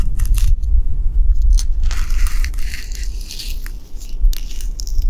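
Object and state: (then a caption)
Pine bark, rubbed and scratched. A black knit-gloved hand rubs and scratches the rough, deeply furrowed bark of a large, solid living pine tree trunk outdoors in winter. Dry, crackling scrapes and crunchy tearing bursts come in irregular strokes over a steady low rumble, possibly from wind or vehicles.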